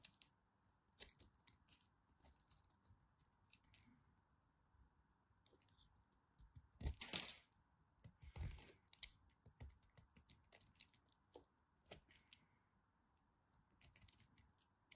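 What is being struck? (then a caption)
Bar of soap cut with a craft knife. A craft knife carves and cuts into a solid blue and white striped bar of soap, making quiet, irregular scraping and clicking strokes with bright, crisp edges. Two louder, longer cuts stand out in the middle, over a faint steady background hiss.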